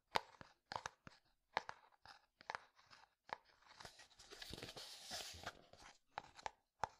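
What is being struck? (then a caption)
Plastic jar. Fingertips and nails tap and scratch a translucent plastic jar with a white lid. Sharp, hollow plastic taps with a short ring around 900 Hz are broken up by a longer, bright, hissing scratch across the middle. The clip ends with a few more crisp taps, all quiet and close with almost no low end.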